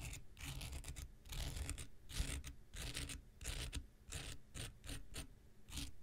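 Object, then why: Foam nail buffer block scraped with a knife blade. An x-acto knife blade scratches across a handheld pink rectangular nail buffer block made of solid foam with an abrasive surface. Irregular bursts of bright, rasping scratch noise rise and fall over about six seconds, with a steady low rumble underneath.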